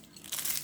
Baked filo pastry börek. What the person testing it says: колко е хрупкав нашият бюрек